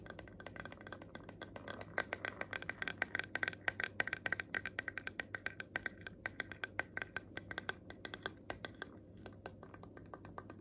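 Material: Plastic.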